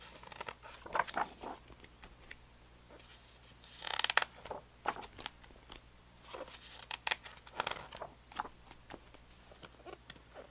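Fingertips rub and slide over the glossy printed paper pages of a large hardcover *Atlas of Stars and Planets* lying open on carpet, then turn the pages. Soft, bright papery swishes and crinkly rustles come in short bursts over a quiet background, with a louder flurry of page movement near the middle. There is almost no low end, and each rustle stops dry with no ring.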